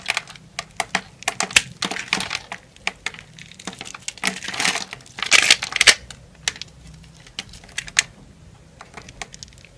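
A utility knife scrapes and cuts cubes off the surface of a solid brown, grid-scored bar of soap held in the hand. A rapid, uneven series of short, crisp, bright clicks and snaps is heard, with a few longer scraping bursts in the middle. Each snap dies away almost instantly as the cubes break free.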